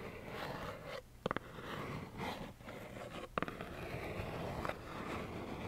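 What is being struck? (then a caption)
Cardboard tissue box. Long nails scratch steadily across a small, hollow plaid cardboard tissue box held close, making a continuous soft, papery scraping. Two quick clusters of sharp, bright taps on the box break through the scratching, one near the start and one midway.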